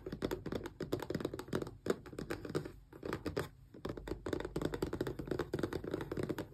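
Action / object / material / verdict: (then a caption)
tap / small closed cardboard box / cardboard / none. Long press-on nails tap quickly along the edges and sides of a small, closed, hollow cardboard Xbox controller box. The result is a dense run of rapid, dry, clicky taps with a hollow low-mid tone, each dying away almost instantly. The tapping briefly thins out around the middle before picking back up.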